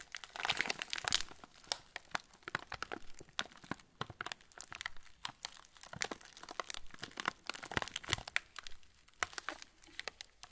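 A full plastic-film TUC cracker packet is turned between the hands while fingertips press and rub the wrapper. Dense, bright crinkling runs throughout the clip with many sharp little crackles and short, dry snaps. No speech or other sounds are heard.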